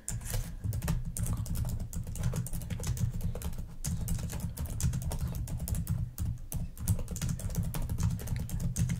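Long nails type steadily on a black plastic laptop keyboard, making a dense run of quick, sharp clicks with bright, high clatter. A constant low hum sits underneath the continuous clicking throughout.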